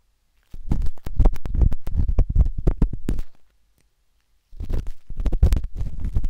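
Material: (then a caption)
Silicone. A metal-tipped dot stick with a wooden handle scratches inside the soft, hollow canal of a pinkish-white silicone binaural microphone ear. It makes rapid, irregular, deep muffled thuds and rubbing scrapes, heavy in the low end. The bursts run for about three seconds, pause, then resume.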